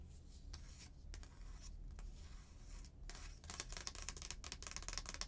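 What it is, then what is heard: Stiff paper card scratched by nails. Long painted nails scratch and rub the front of a stiff, thin, flat paper "Merry Christmas" greeting card. Soft papery rubbing over a low background hum turns after about three seconds into denser, bright, crisp scratching with rapid sharp ticks.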